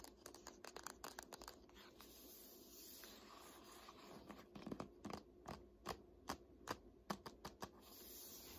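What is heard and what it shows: Long nails tap quickly on the laminated spine of a thick "Art History" hardcover textbook standing upright, making a typing-like clicking. The first two seconds are fast, dense flurries of clicks. After a quieter stretch of light scratching, sharper, more spaced single taps ring out near the end.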